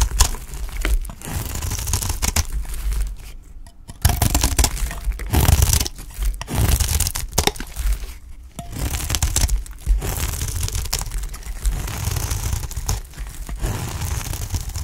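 A utility knife scrapes and cuts flakes from the surface of a solid green, dry olive-oil soap bar held in the hand. The result is a steady run of dry, crunchy, tearing scrapes with a heavy low rumble and bright crackle on top, broken by brief pauses near 4 and 8.5 seconds.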